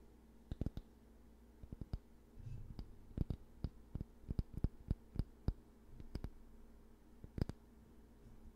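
Fingertips scratch and brush across the dense black bristles and wooden handle of a handheld hair brush held close to the mic. Sharp, dry clicks and taps land irregularly over a low, steady hum, with a soft rustling patch around the middle. Each click dies away almost at once.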